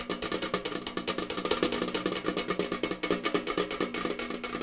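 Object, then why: Thin sheet-metal tin. A tall, rectangular, hollow printed metal cereal tin, held up with its picture-covered back side out, is tapped rapidly with fingers and nails. The result is a fast, uneven stream of bright clicky taps over a steady hollow metallic tone, with each tap dying away quickly.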